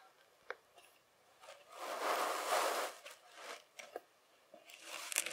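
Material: Sand.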